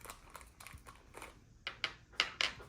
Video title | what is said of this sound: My feedback have been heard?! - Ant Farm Supply ￼V2 unboxing | I'm curious this sounds like glass